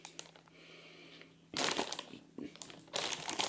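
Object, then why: Cardboard box in plastic shrink wrap. A small cardboard earbuds retail box, still sealed in clear plastic shrink wrap, is held in the hands while fingers squeeze and rub the wrap. After a quiet stretch of faint ticks over a low steady hum, loud, bright crinkling bursts break out in three waves.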